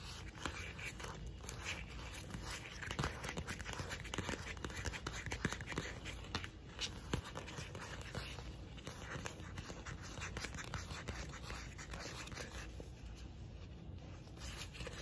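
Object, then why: Softcover paper booklet. Long acrylic nails scratch and tap the front and back covers of a pink softcover paper booklet. Quiet, dense, crackly scraping mixes with many short, dry taps over a steady low hum.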